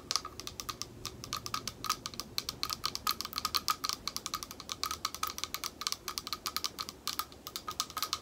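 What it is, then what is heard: Glass bowl tapped with nails. Long nails tap fast on the base of a small, thick, clear glass bowl that is held in both hands, hollow and empty. About sixty quick, bright clicks sound in a steady, uneven patter, each with a faint glassy tone near 1.25 kHz and almost no ring.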